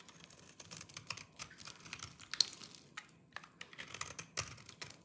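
A small orange-handled knife scrapes and shaves the surface of a solid, dry lime-green soap bar held in the fingers, and the shavings pile up below. Around sixteen short, dry, crunchy scraping strokes sound bright and crisp, each stopping almost at once with no ring and almost no low end.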